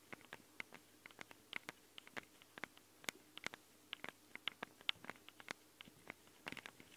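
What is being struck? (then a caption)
Metal microphone capsule housings of a handheld recorder. Long nails tap and scratch the metal housings of the two microphone capsules, set in red rings, on a Tascam handheld recorder. About 28 quiet, bright, dry clicks and scrapes come in an irregular patter over seven seconds, several with a short metallic ping near 2–3 kHz. Each one dies away almost instantly, with little low end.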